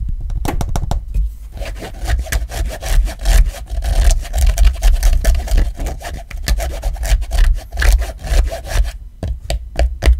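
Fingers and nails rub and scratch across the textured grey fabric card pocket and the black rubber case of an iPhone XR. Quick, close scratchy strokes come in an uneven, continuous rhythm, with a dull low-end thump under a faint bright hiss, and pause briefly near the end.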